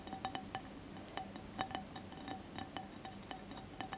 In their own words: ASMR tapping and scratching on glass candle holder